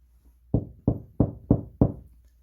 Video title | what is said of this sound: 우리집 벽에 내 손으로 시계와 액자를 걸어보자(feat.석고보드) | 통통통통통. 이런 벽이 석고보드나 나무입니다.